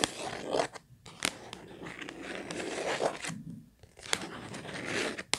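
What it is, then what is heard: Cardboard tissue box. Long nails tap and scratch across the printed face of a hollow, purple Kleenex cardboard tissue box. Dense, bright scratching fills most of the clip, broken by a few brief pauses and sharp, crisp taps. The sound is dry and papery, with little low end and almost no ring.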